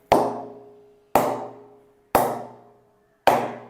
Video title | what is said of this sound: Leather Bat - Hard Tennis - Soft Tennis - Best Bat Under 2500 - TRB - Order Directly 9888949778 | आवाज से पता चलेगा कि यह बैट आपके लिए उपयुक्त है या नहीं। यह बहुत ही शानदार है।